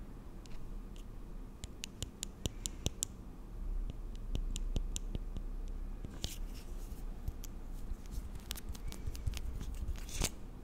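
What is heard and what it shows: Long nails scratch and tap along a slim, hollow plastic lash and brow serum tube with a cap, held in both hands. Quick, sharp, bright clicks and short scratchy scrapes come in an irregular patter, with denser bursts of scratching later on. Underneath runs a steady low hum.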